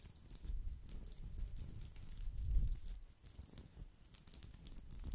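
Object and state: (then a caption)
Woven straw coaster. A round, flat, palm-sized woven straw or rattan coaster is held beside the microphone and scratched and rubbed with the fingertips. It makes a soft, dense crinkling and pattering rustle with low, muffled body and faint bright ticks, swelling in the middle and easing off near the end.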